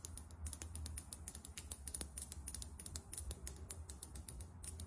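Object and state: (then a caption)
Glass foundation bottle. Long nails tap rapidly on a small glass Sephora Best Skin Ever foundation bottle, filled with beige liquid and topped with a champagne-colored cap, held in one hand. The result is a quick, uneven run of sharp, bright clicks that die away instantly over a faint, low background rumble.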